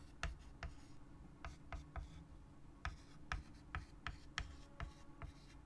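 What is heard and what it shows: A white chalk stick held in the fingers writes on a large, solid, flat wood-framed chalkboard. Twelve short, sharp scratch strokes tap and scrape across the board, each a quick bright click over a low, steady background hum.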